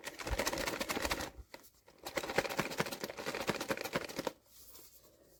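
A sealed cardboard POP MART Skullpanda "The Sound" blind box holding the vinyl Anger figure is shaken as a shake test before being weighed. It makes two bursts of quick, dense rattling and clicking from the figure knocking inside, separated by a short pause, then fades to quiet. When opened, the box turns out to contain the Anger figure.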